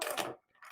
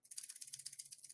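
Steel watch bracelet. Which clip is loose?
The second.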